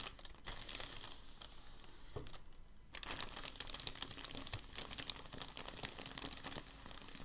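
Both hands smooth and press a large crinkled packing paper sheet on a table. The result is a steady run of dense, bright crinkling and sharp crackles, easing briefly into a quieter stretch near the middle before the crackling picks up again.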